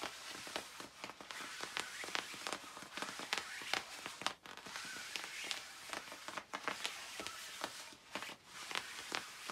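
Long nails scratch across the puffy back panels of a glossy black quilted nylon down jacket worn by someone reclining. The result is a dense, continuous bright rustling and crisp scratching with many short, sharp scrapes layered over a steady hiss of fabric.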